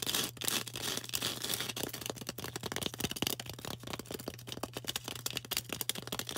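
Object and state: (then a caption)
Floral foam block. Long orange acrylic nails fast-tap and scratch a hand-held green floral foam brick, solid and porous and about fist-to-palm size. A rapid run of crisp, bright clicks mixes with dry, hissy scratching over a faint steady low hum.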